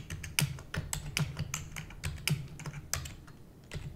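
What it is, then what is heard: Plastic computer keyboard being typed on. Long nails type rapidly on a black plastic computer keyboard. A quick, uneven run of sharp clicking keystrokes is heard, each with a bright clack over a low plastic thud. The taps die away almost at once, with some strokes landing harder than others.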